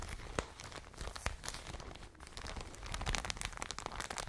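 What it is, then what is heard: Plastic bag of cotton wool, squeezed and scratched. A full plastic bag of cotton wool is squeezed and scratched with long nails. The result is a soft, continuous crinkling and crunching, dotted with sharp, bright clicks and scratches that grow busier toward the end.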